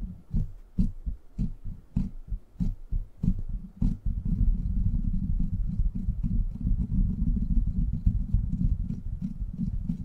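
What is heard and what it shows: Fingertips squeeze over the top of a silver microphone's rounded, hollow steel mesh grille and scratch across it. For the first four seconds there are separate low, muffled thumps with faint bright clicks. Then it becomes a continuous, dense, low rumbling scrape that fills the lower range.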